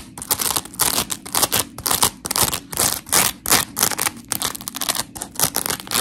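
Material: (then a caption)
Polymer foam. Long pink nails scratch the gritty surface of a dry, blue-and-white smiley-face scrub sponge made of coarse, porous polymer foam. The result is a steady run of quick, raspy scratching bursts, bright and hissy with little low end, each stopping almost instantly between strokes.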